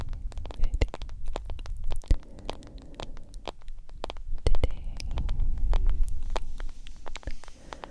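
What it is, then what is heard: Smartphone in silicone case. Long acrylic nails tap and scratch the black glass screen and yellow silicone case of a hand-sized smartphone held between two microphones. Rapid, sharp clicks and ticks scatter across a low, rumbling, scratchy bed that swells and fades throughout.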